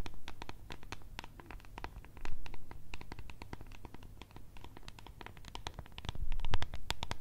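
Long red nails tap and scratch the sides and lid of a small, clear, translucent plastic tub holding blue contents. Quick, irregular, bright clicks and scratchy strokes come in a dense stream over a steady low hum. Louder bursts rise around two seconds and again near the end.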